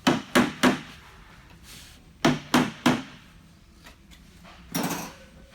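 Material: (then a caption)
Plastic. Hammer blows drive the leg ends of a Rubbermaid plastic utility cart into the shelf's corner grooves. Seven sharp knocks land in two bursts of three, then a softer final one. The blows sound hollow at first and turn solid once the leg is fully seated, showing the part is driven home.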